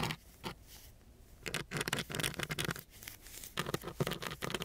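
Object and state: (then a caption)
Sandpaper sheet scratched. A wooden stick held in a gloved hand scratches across the grit of a coarse brown sandpaper sheet. It makes bursts of dry, rough, crackling scratches with a bright, hissy edge, separated by quieter, softer rubbing.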